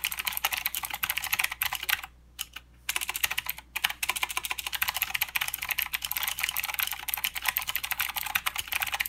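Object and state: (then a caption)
Plastic mechanical keyboard. Both hands type with their fingertips on a full-size mechanical keyboard with plastic keycaps and blue clicky switches. There is a fast, steady run of sharp, bright clicks with almost no low end. Brief pauses come just after two seconds and again near four seconds, then the typing resumes at the same pace.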